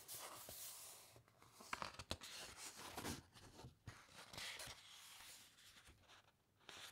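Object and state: Thick paper encyclopaedia pages being scratched and turned.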